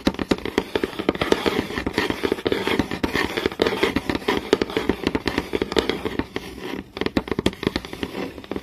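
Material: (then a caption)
Wood. Fingernails quickly tap and scratch a flat, solid wooden board with visible grain. A rapid, continuous run of short, dry clicks with almost no ring is heard, with a midrange knock around 400 Hz and a soft scratchy hiss between taps. There is a brief lull near the seven-second mark.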